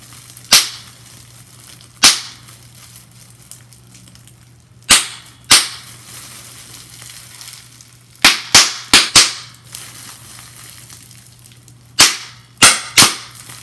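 A small piece of clear plastic bubble wrap is pinched between fingertips and nails, and its bubbles are popped one by one. Sharp, bright snaps come first singly with pauses between them, then in a quick run of four, then a closing group of three. Each pop dies away almost at once over a faint low hum.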